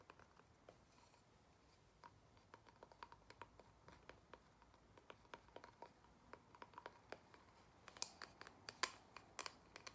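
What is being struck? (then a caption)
Thin cork-backed coaster tapped with fingernails. A single thin, square, cork-backed photo coaster is held in the hands while long nails tap and scratch its cork side. Quiet, dry, clicky taps with a bright edge and almost no ring come in an irregular run over a faint scratchy rustle, centered near 1 kHz. The taps grow louder and sharper toward the end.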